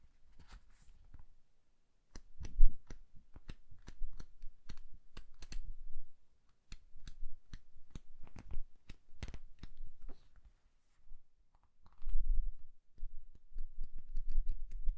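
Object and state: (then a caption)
Paperback book pages flipped. A small paperback book is held open while its pages are fanned and flipped fast with the fingers. Quick, crisp paper snaps and flutters run in bursts, with brief quiet gaps between them, over a soft low rumble.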